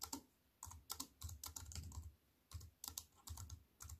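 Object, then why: Plastic computer keyboard with aluminium frame. A compact wireless keyboard with black plastic keys in a thin silver aluminium frame, resting on a wooden table, is typed on with fingertips and long white nails. Quick bursts of sharp, bright key clicks with dull low thumps underneath are separated by short pauses, and each click dies away almost at once.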